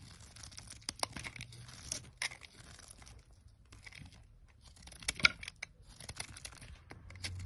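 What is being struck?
Bar of olive oil soap cut with a metal blade.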